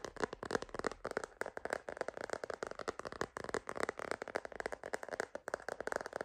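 A purple glitter plastic phone case on a phone, held upright, is tapped rapidly on the back with long nails and fingertips. The result is a dense, quiet stream of short, dry, clicky taps that die out almost instantly, with a hollow mid-range tone and a bright edge.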